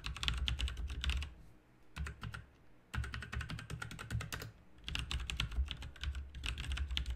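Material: Plastic.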